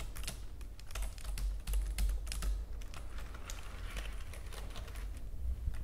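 Fingernails on hands adorned with gems tap across the keys of a white plastic computer keyboard, using both hands. The result is a quick, irregular patter of sharp, bright clicks that die away almost instantly, over a steady low hum.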